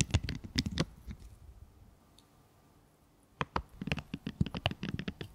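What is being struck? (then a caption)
Raw broccoli crown. Long yellow nails scratch, press and squeeze into the dense green florets of a whole, hand-sized raw broccoli crown. Dry, crackly rustling scratches come in quick bursts, fade into a near-silent pause of about two seconds, then return as a rapid run of sharp, bright crunchy scrapes.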